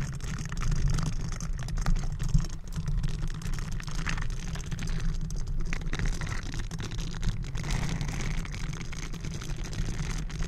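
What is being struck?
Metal mesh microphone grille.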